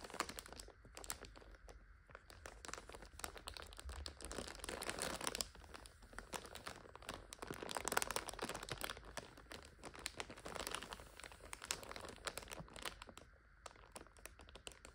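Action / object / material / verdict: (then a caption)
scrape / plastic overwrap on a noodle multipack / plastic film / none. Long nails scratch and crinkle the clear plastic overwrap of a full purple instant noodle 5-pack. Dense, bright crinkling and crunching crackles continue throughout, swelling louder around the middle and again near eight seconds, with short sharp ticks and little low end.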